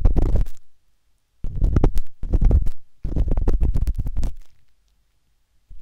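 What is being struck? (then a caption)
Silicone ear of a binaural microphone, scratched with a metal dot stick. The metal tip of a wooden-handled dot stick scratches inside the ear canal of a pale pink, soft, solid silicone ear on a binaural microphone. Rapid, close, muffled scratching and tapping comes in several bursts separated by short silences, almost entirely deep and rumbling with little brightness. The scratches cut off quickly with no ring.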